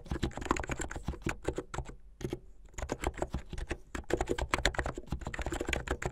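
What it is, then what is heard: Plastic mechanical keyboard being typed on. Fingertips with medium-length painted nails type fast on a plastic mechanical keyboard with white and blue plastic keycaps. A rapid, dense run of short, crisp clacks with a solid low thump, pausing briefly near the middle before resuming.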